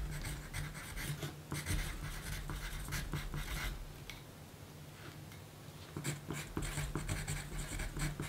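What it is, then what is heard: Pencil writing on a paper note. A yellow wooden graphite pencil writes on a small pink paper note sheet lying flat on a black table, its tip scratching across the paper. Bursts of dry scratching come in irregular runs, with a quieter stretch in the middle before the scratching picks up again, over a steady low hum.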